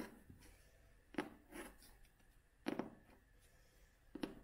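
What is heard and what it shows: Long fingernails tap and scratch the cover of a vintage cloth-covered hardcover book held upright. Soft, dry taps land at uneven intervals, some in quick pairs, with a dull low-mid knock and almost no ring. Faint bright scratchy rasps sit between them over a quiet background.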